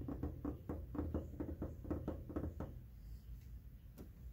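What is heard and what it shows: Short fingernails and fingertips tap and scratch along the flat, white hard-plastic top panel of a large, hollow window air conditioner casing. A quick, uneven run of dull, low-pitched knocks lasts about two and a half seconds, then goes quiet before one final tap. The hollow plastic gives each knock a deep thud with only a brief ring.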